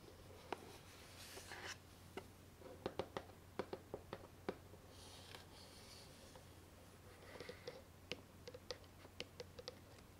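A small, hollow white lidded cardboard gift box with a satin ribbon bow is held up and tapped and scratched with long painted nails. Sharp, dry taps with almost no ring alternate with soft, bright scratching swishes over a low steady hum.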